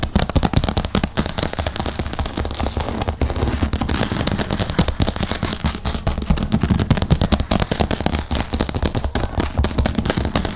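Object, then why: Wood-grain laminate tabletop. Long painted acrylic nails on both hands tap rapidly across a large, flat, solid light-grey wood-grain laminate tabletop, with the microphone resting on the table. The result is a dense, irregular stream of sharp, short clicks with bright edges over a strong low thud carried through the surface.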